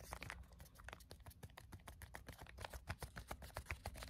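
A small, flat, white plastic sample sachet is held in both hands and tapped with fingernails. The result is a fast, irregular run of quiet, sharp clicks mixed with a soft plastic crinkle, each tap dying away almost at once over a low background rumble.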